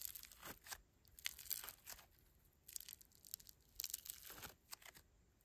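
A palm-sized lump of pastel foam bead slime (floam), solid and pliable, is squeezed, folded and pulled apart by fingertips. It makes quiet, crunchy, crinkly crackles in irregular bursts, bright and high with almost no low end, separated by brief near-silent pauses.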